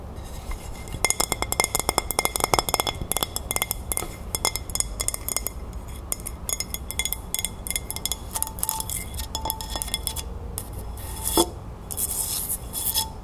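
A large white ceramic dinner plate, empty and held upright to show the maker's mark on its back, is tapped and scratched on its underside and rim with long nails. Quick, bright clinking taps come in dense bursts over a soft scratching hiss, each tap dying away almost instantly.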